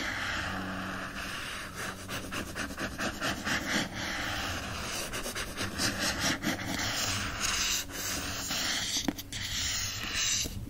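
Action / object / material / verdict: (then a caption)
scrape / paper-covered board book cover / paper board / none. Fingertips scratch and rub the lower front cover of a hardcover book with a printed paper-covered board cover, held in hand, with lighter contact. A steady, bright, papery scratching and rubbing hiss runs throughout, with brief sharper strokes standing out now and then.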